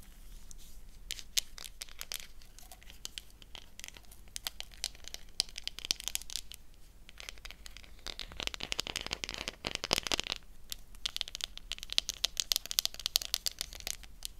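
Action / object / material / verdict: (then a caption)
scrape / thin slice of soap / soap / none. A thin, translucent brown-black slice of black soap is held in both hands and bent and crinkled with the fingers and long nails, the knife set aside. The result is a continuous run of dense, bright crackling and crinkling with many tiny snaps, swelling louder in bursts toward the middle and end.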